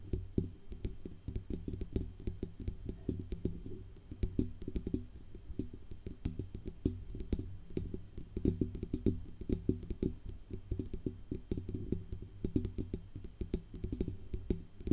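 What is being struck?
Metal USB microphone body.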